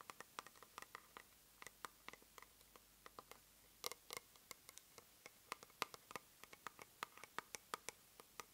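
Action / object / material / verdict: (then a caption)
tap / small plastic cosmetic jar / plastic / none. The base of a small white plastic cosmetic jar, held upside down, is tapped and scratched with long nails. About forty quick, dry, bright clicks and scratchy ticks die away almost instantly, with a brief rougher scrape near the middle. The sound is quiet and has almost no low end.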